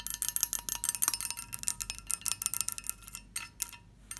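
A textured glass dish is tapped and scratched, giving a quick run of bright, high clinks with a chime-like ring. Each tap is short and sharp, with almost no low end, and the tapping thins out toward the end.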